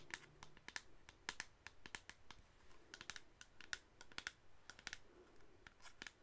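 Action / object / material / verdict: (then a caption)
tap / plastic spray bottle / plastic / none. Long acrylic nails tap and scratch quickly all around the sides of a hollow, medium-size black plastic cosmetic spray bottle with a white label, held upright in both hands. The result is a quiet, irregular stream of sharp, bright plastic clicks that die away almost instantly, with soft scratchy rustling between them.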